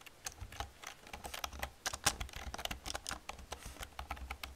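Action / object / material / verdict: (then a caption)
tap / plastic computer keyboard / plastic / none. Both hands with long red-painted nails and fingertips rapidly type on an old full-size black plastic computer keyboard with hollow key caps. The result is a quick, uneven run of short, bright, hollow clicks and clacks with a faint low thump under each, and each one dies away almost instantly.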